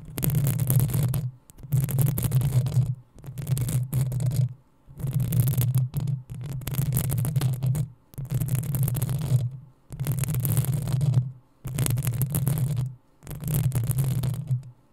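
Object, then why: Metal mesh microphone grille. Long acrylic nails of both hands scratch the hollow metal mesh head of a black desktop USB microphone. The scratching comes in about nine bursts separated by short pauses. Each burst is a dense, bright hiss over a heavy low rumble of around 110 Hz.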